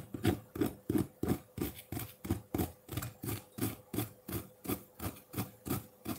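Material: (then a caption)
Ice. A solid block of colored ice in a ceramic bowl is scraped with the tines of a metal fork, making a rasping, shaving sound. The scrapes come in a steady rhythm of about three per second, each a short gritty stroke with a low body and a bright edge.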